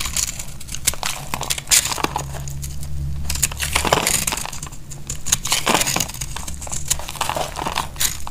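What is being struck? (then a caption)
Bar of soap cut with a knife. A knife shaves crunchy flakes from the end of a solid, dried purple soap bar with a chalky crust, held in hand. Quick, dry, crackling scrapes come in rapid overlapping bursts with bright, crisp highs, over a steady low hum.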